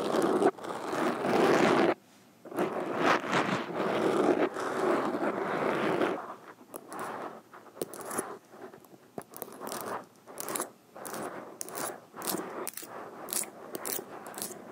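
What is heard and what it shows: Metal fingerpick tips scratch and tap along a black foam windscreen on a microphone from both sides. The first six seconds are a dense, continuous rough scratching with a brief gap near two seconds. After that come separate, crisp taps with bright ticks, spaced unevenly over quieter scraping.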